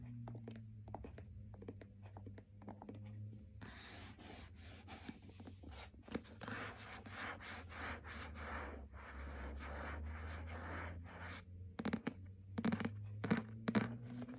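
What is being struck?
Paperback book with card cover.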